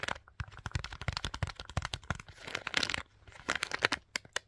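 Long pink nails and fingertips scratch and rub along the shaft of a soft, hollow black fabric boot covered in small rhinestone studs. The result is a rapid, uneven run of sharp, bright clicks and crinkly scrapes, with brief hissing rubs in between and a light low thump on some strokes.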